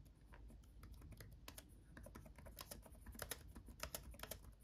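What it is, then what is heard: Plastic laptop keyboard being typed on. Both hands type with their fingertips on a backlit laptop keyboard with plastic chiclet keys. The result is a quiet, steady run of short, dry clicks with bright tops, and a few sharper taps stand out toward the end. A constant low rumble sits underneath.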